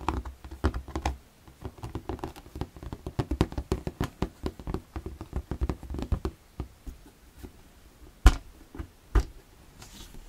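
Fingertips tap the transparent side walls of an empty, hollow, clear plastic storage box held up in the air. A rapid, irregular run of soft, dull, low-pitched taps dies away almost instantly. Two sharper, brighter knocks stand out near the end.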